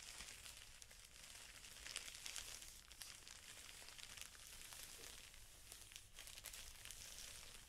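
Fingertips rub and crinkle the clear plastic wrapper around a pack of felt sheets. The result is a soft, steady, bright crinkling and rustling with a few sharper crackles, over a faint low hum throughout.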